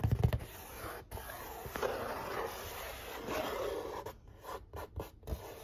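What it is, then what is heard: Cardboard pizza box scratched. Fingertips and short nails trace and scratch across the printed artwork on the lid of a large, flat corrugated cardboard pizza box resting on a stovetop. A soft low bump opens into long, dry, papery scraping strokes that swell and fade. The clip ends in a few short, quick scratches.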